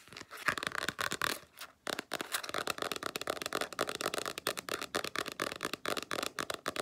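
Long nails tap and scratch the flat cover of a black spiral-bound sketchbook with stiff cardboard covers. Quick, dry, papery clicks and scrapes run in a dense, uneven stream with a brief pause just before the 2-second mark. The sound is bright and thin, with almost no low end and very short decay.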